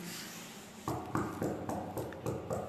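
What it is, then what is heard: Bonded concrete floor screed (dull sound). A concrete floor screed in an apartment is tapped repeatedly, giving a series of short, dull knocks with a low-mid thud and little ring. The dull sound shows the screed is bonded to the base, which is normal.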